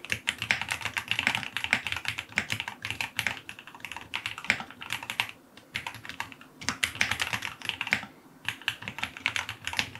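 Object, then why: Aluminum mechanical keyboard with plastic keycaps. Fingertips type continuously on a white full-aluminum QK75 75% mechanical keyboard, with a solid case resting on a desk, white and dark green plastic keycaps, a brass knob, an FR4 plate and lubed linear switches. The result is a steady stream of short, crisp, bright key clacks with almost no low-end thump, briefly pausing around the middle before the rapid typing resumes.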